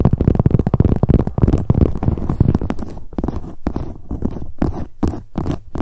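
Long nails tap and scratch quickly across the front of a medium, hollow black leather handbag near its handle rings. The result is a dense run of soft, muffled, low thuds mixed with brushing scrapes that later separate into quicker, distinct taps.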